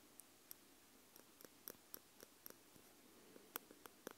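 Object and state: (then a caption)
Metal microphone capsules tapped with tweezers. Metal tweezer tips held in both hands tap the two round metal microphone capsules with red rings on a Tascam X-Y recorder. Eleven separate light, bright metallic ticks sound at irregular intervals over a quiet background, each dying away almost instantly.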